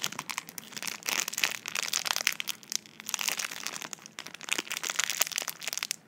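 Long nails tap and scratch the clear plastic film sealing a small tube, and fingertips crinkle it. Dense, bright crackling and crinkling come in uneven bursts with almost no low end, separated by brief quieter gaps. Each sound is dry and stops at once.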